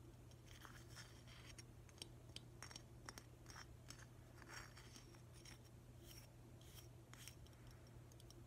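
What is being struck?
Glazed ceramic octopus figurine.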